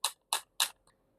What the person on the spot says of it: it doesn't sound like wood